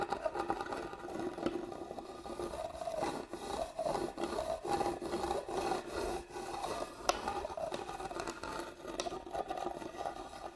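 Long fingernails scratch along the carved grooves in the lid of a hollow, hand-carved wooden box held upright. The result is a steady, raspy scratching with a hollow, woody mid-range resonance and a few brief, sharper clicks.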